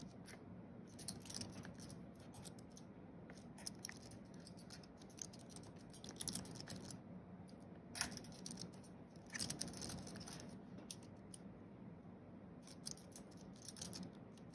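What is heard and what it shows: Fingertips of both hands tap quickly across the white plastic keys of a thin wireless keyboard with a flat aluminium base, typing. Soft, rapid clicks with bright ticks run in bursts through the clip over a quiet, steady low hum, each tap dying away almost instantly.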